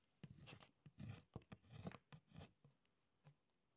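A short metal stylus held in a hand scratches letters into the thin layer of beeswax on a writing tablet in a wooden frame, with a loose string lying on the wax surface. About ten quiet, dry, uneven scratching strokes are heard, with a soft, low-weighted scrape and some brighter hiss, each stopping quickly with no ring.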